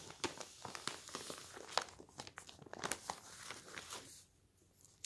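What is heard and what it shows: Fingers crumple the folded corner of a paper newspaper lying on a table, then a palm smooths and rubs the open sheet. Dense, bright crinkling and sharp papery snaps fill most of the clip before easing into a softer rubbing hiss. It goes nearly quiet just after four seconds, and a final crackle comes at the very end.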